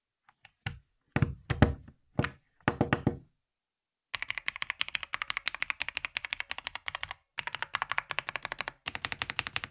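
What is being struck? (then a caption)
Plastic mechanical keyboard. A black VortexSeries GT65 Lite 65% mechanical keyboard with a plastic case and plastic keycaps rests on a grey surface while two hands type steadily on it with their fingertips. A few scattered, louder bursts of clacks come first, then a dense, rapid run of sharp key clacks with a low thock and bright click. The run breaks briefly twice before the clip ends.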